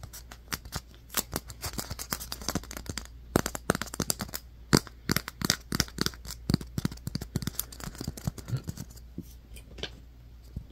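Fingertips and nails scratch and tap a fist-sized white polystyrene foam ball, making rapid, dry, crisp clicks and scratchy squeaks. Each tap stops at once with no ring, over a low steady hum.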